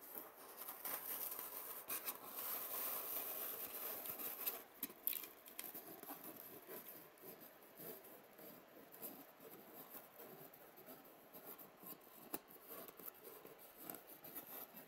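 A wooden matchstick held in the fingers scratches and pokes the top of a hollow cup on an empty white polystyrene foam egg tray. Dense, bright, squeaky scratching fills the first few seconds, then settles into a quieter, steady rasp. A few sharp, dry pokes stand out along the way.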